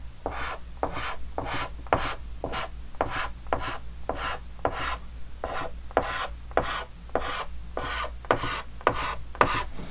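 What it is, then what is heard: Chalk on a chalkboard. A white chalk stick held in the fingers scratches and rubs repeated hatching strokes across a large, flat, dark green wooden-framed chalkboard. About 18 short, gritty, bright scrapes come in an uneven rhythm of roughly two per second, with a low steady hum underneath.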